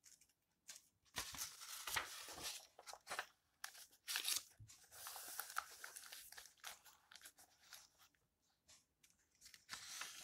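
Fingertips lift, flip and rustle the yellowed paper pages of an open old book. Quiet, bright, crisp paper rustles and crinkles come in short bursts, with almost no low end.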